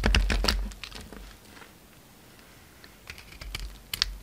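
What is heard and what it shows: A utility knife blade scrapes and carves shavings off a solid pink bar of soap with a dark red rim, held in the hand. A quick burst of crisp, bright scraping clicks opens the clip, then fades to a near-silent pause. More sharp scrapes return near the end.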